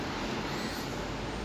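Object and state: Nothing is struck.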